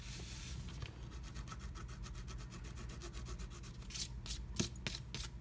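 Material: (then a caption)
Coated paper. A pointed wooden stylus scratches freehand across a black-coated scratch art card, with no stencil, to fill in a heart. Quick, steady back-and-forth strokes make a dry, bright rasping over a soft low rumble. Near the end come a few louder, sharper scrapes.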